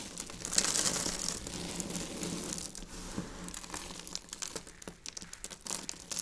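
A heap of dried white soap shavings, pared with a peeler, is crushed and rubbed between both hands, the fingertips grinding the flakes into powder. Dense, bright crinkling and crunching is loudest in the first second and a half, then thins into sparser, sharper crackles as the flakes break down.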